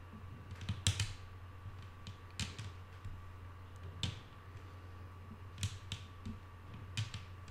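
Long nail tips tap slowly on a flat, solid wooden tabletop, making sharp, bright clicks with short decays spaced irregularly. A steady low hum and a faint constant tone sit underneath the taps.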